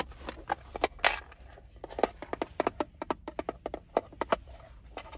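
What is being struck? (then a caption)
Plastic screwdriver bit case. A small hard screwdriver bit case with a clear plastic lid and red trim, full of metal screwdriver bits, lies on a car seat and is tapped and scratched with fingertips and nails on its lid and sides. About twenty quick, sharp, dry clicks are heard with faint scratching between them, and the bits may rattle inside.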